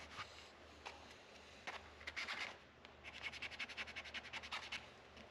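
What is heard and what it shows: A small white sanding pad rubs and scrubs the upper metal frets near the headstock of a solid wooden electric guitar neck with a dark fretboard, lying on a workbench. A few separate scratchy strokes give way to a faster run of bright, rhythmic scrubbing rasps.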